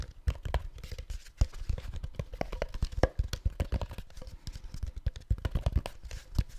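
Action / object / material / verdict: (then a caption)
tap / plastic supplement bottle / plastic / none. A hollow white plastic supplement bottle with an orange label is held in one hand and tapped with the fingertips of the other. It makes a rapid, uneven string of dull, low thumps and light clicks. Each tap dies away almost at once, with little bright content.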